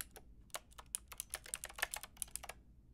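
A white-and-pink Lofree mechanical keyboard with round plastic typewriter-style keycaps and a hollow plastic case is typed on with long painted nails and fingertips. About fifteen quick, sharp keystrokes sound as bright, clicky plastic taps that stop almost instantly, over a faint steady low hum.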